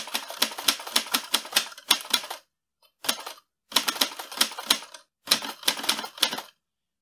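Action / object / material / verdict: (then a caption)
tap / metal manual typewriter / metal / none. Fingertips type on the keys of a mint-green portable metal manual typewriter with paper loaded, its carriage moving and its mechanical body sounding hollow. Bursts of rapid, sharp, bright clacks come in four runs separated by brief pauses, each strike cutting off quickly with almost no low end.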